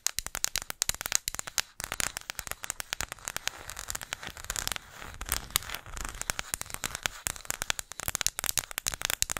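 A small, flat, round, solid disc of engraved light wood is tapped and scratched on its face and edge with long acrylic nails close to the microphone. Dense, rapid clicks and scratchy crackles sound bright and dry, with almost no ring and little low end, softening briefly to a steadier scratching in the middle.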